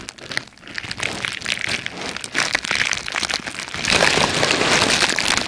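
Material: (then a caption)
Plastic. A crumpled sheet of red plastic bubble wrap, held close to the mic, is squeezed and scratched with long red-painted nails and fingertips. Dense, bright crinkling and crackling clicks come in quick, uneven bursts with little low end, growing louder and busier toward the end.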